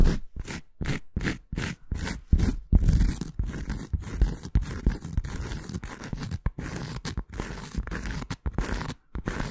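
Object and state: Cork coaster scratched.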